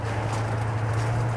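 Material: Nothing is struck.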